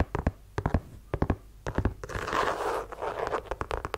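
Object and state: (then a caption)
Leather sneaker tapped and scratched with fingernails. Fingernails tap and scratch a white low-top leather sneaker, working over its leather-look upper and rubber sole. About twenty quick, dry taps come in small bursts with a low thud and almost no ring. Midway, a longer, brighter scratching rasp takes over before the tapping returns.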